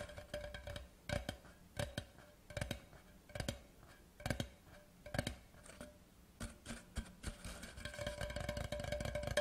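An empty, large hollow cardboard Laphroaig whisky gift tube lying horizontally is tapped with the fingertips of both hands at its ends and along its body. Quick, dull, hollow knocks come in uneven bursts with a low body and a faint steady tone in the mid range. The taps die away almost at once.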